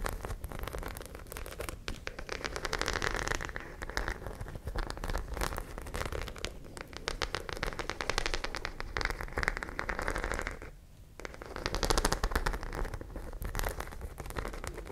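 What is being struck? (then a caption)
Fabric pouch with small studs. Long nails scratch and tap over the small studs of a white fabric pouch held close to the mic. The result is a dense, steady crackle of rapid scratches and clicks with a bright edge, easing briefly near the 11-second mark before picking up again.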